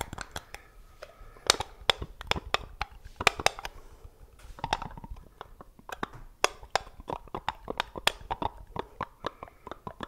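Fingertips handle, twist and tap the screw lid of a small, round, hollow black plastic jar held in both hands beside the microphone. A rapid, uneven series of dry, bright clicks, taps and light crunches follows, each dying away almost instantly with no ring, over a faint scraping of the lid.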